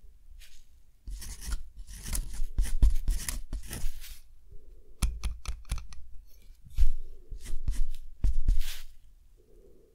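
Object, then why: Steel pen nib on thick textured cotton paper. A steel dip pen nib scratches across a hand-held, deckle-edged sheet of thick textured cotton paper, writing handwritten text. Bursts of dry, bright scratching and sharp short strokes alternate with quiet pauses, over a low rumble. The result is a handwritten page.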